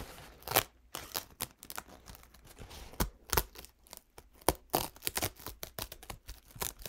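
A single thin, soft paper towel stained with purple, green and yellow paint is unfolded, then crinkled and rubbed between the fingertips. The result is a string of short, dry crackling and rustling bursts with quieter papery scratching in between.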